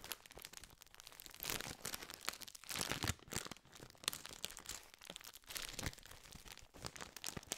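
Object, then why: Foil-lined plastic biscuit wrapper. A full, gold foil-lined metallized plastic biscuit tube is crinkled and scratched with the fingertips. Dense, bright crackling and rustling runs throughout, with short sharp crinkles swelling into louder bursts and easing off again.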